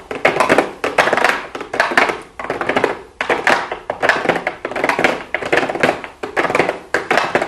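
Long blue acrylic nails tap rapidly on a small, hollow pink cardboard makeup box with a clear plastic window. Bursts of quick, dry clicking taps come in irregular clusters, with a papery midrange tone, no low end and very short decay between flurries.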